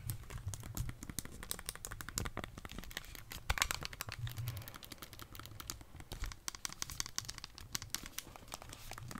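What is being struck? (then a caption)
Plastic handheld game console with controllers. Long dark-painted nails tap and press the buttons and edge of a plastic Nintendo Switch console with Joy-Cons attached. A rapid, irregular stream of crisp, dry plastic clicks and taps runs throughout, over a soft low rumble.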